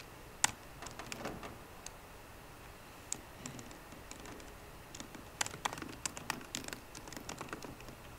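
Fingertips with short green nails tap the low-profile plastic keys of a 13-inch aluminum MacBook Pro laptop keyboard. Quick, quiet, dry clicks with bright edges come in irregular bursts, a few sharper taps standing out over a low hiss.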